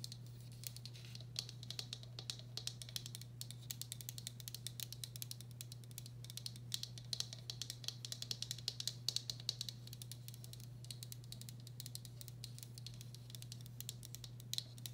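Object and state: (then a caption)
Ceramic bowl. A medium, hollow, empty turquoise speckled glazed ceramic bowl, held sideways, has its outer wall tapped with long black acrylic nails. The result is a fast, continuous patter of short, dry, bright clicks that stop almost instantly, over a steady low hum around 120 Hz.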